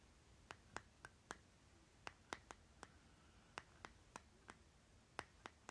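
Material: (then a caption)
Plastic. Fingernails scratch and tap the lid of a small round green plastic lip butter jar, then tap its side. Fifteen quiet, sharp, dry clicks sound in uneven groups, each with a bright edge and almost no ring, over a faint hiss.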